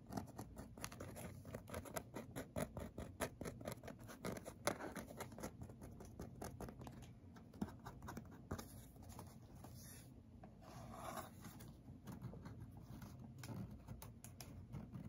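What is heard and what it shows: Fingertips and nails tap and scratch the surface of a hollow white cardboard inner box with two round holes, held up close. Soft, rapid patter and dry scratching run throughout, with a hollow, low-weighted body and brief louder taps that die away almost at once.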